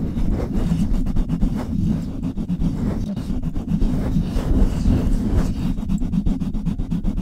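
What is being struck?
Metal mesh microphone grille.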